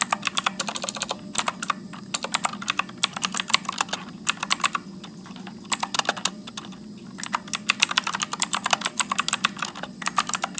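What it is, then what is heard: Plastic mechanical keyboard. Fingertips type continuously on a backlit Motospeed mechanical keyboard with blue switches and plastic keycaps, producing rapid bursts of sharp, bright clicks that die away almost instantly. Short pauses break the typing, and a faint steady low hum sits underneath.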